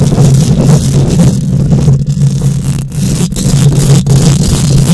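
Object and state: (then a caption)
Metal mesh microphone grille being scratched. Long nails on both hands quickly scratch a bare steel mesh microphone grille, producing a loud, continuous rasping roar. Most of the energy sits low, with a steady buzzy drone around 170 Hz and only faint bright hiss on top. The level stays high throughout, broken only by a few brief dips.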